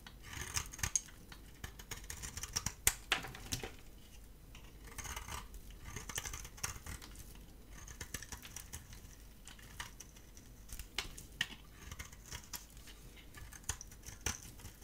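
A dry bar of soap with a gold coating and a cream core is held in the hand and scraped and shaved with a metal utility blade. Quiet, dry scratching and crisp shaving strokes come in bursts of bright, hissy texture, with sharp little clicks and cracks where the blade bites through the coating.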